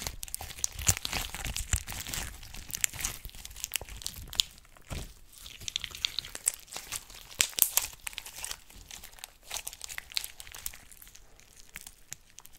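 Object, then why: Glitter slime with small charms. Clear blue glitter slime with charms is squeezed between the fingers, then stretched wide between both hands with long orange nails. Dense, bright crinkling and crackling runs through the whole clip, with quick, sharp pops and soft squelches over a quiet, close background.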